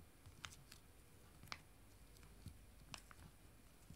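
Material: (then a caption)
Foil laminate. Two small, full, foil-laminated wet wipe sachets joined together are held in both hands and tapped and scratched with fingernails. Quiet, irregularly spaced, sharp crinkly clicks and brief bright scratches stand out against a low, steady background rumble, each one dying away almost at once.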